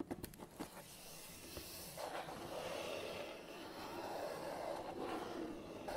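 Fingertips and nails work over the top of a long, hollow printed cardboard box lying on a table with a tripod inside. Four quick, light taps open the clip, then a steady, dry scratching and rubbing carries on with a soft hollow resonance from the box.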